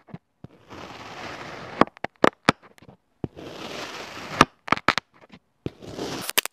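A thin yellow plastic spatula repeatedly slices through a solid oval mound of beige-pink kinetic sand, producing three sustained, grainy, broadband hissing scrapes. Eleven short, sharp clicks and taps are scattered between and after them, the sand's soft texture kept crisp and close.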